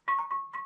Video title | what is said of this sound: Khám phá hang động ( Tập 3 ) : Vào hang - Nhịp Sống Đông Bắc Vlogs | Nó giống như kiểu là một cái đàn đấy các bạn.